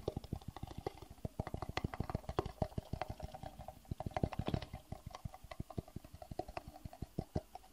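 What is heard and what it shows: A small, empty, hollow clear plastic (acrylic) rectangular box is held in the hands and tapped with the fingertips. A rapid, uneven stream of soft, hollow knocks continues throughout, each a dull low thud with a faint boxy ring that dies away almost at once.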